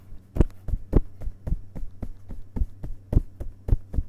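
Fingerpads of both hands tap the printed paper pages of the solid page block of an open hardcover book resting on a carpet. Fourteen soft, dull, low thuds come at a brisk, slightly uneven pace, each dying away almost at once over a steady low hum.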